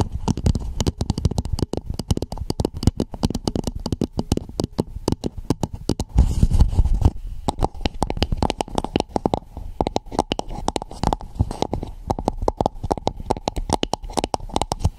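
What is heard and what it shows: Long nails rapidly tap and scratch a hollow red plastic dome cap placed over a Blue Yeti microphone. The result is a dense run of short, dull, boomy knocks with little ring, plus a longer scratchy rubbing passage around six to seven seconds.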